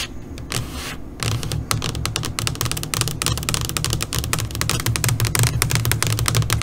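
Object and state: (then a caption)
LCD monitor screen tapped with nails. Long pointed nails on both hands tap rapidly across the flat black screen of an LCD computer monitor. After a quieter first second, dense, irregular, bright clicking taps follow at about three per second, each dying away quickly over a steady low hum.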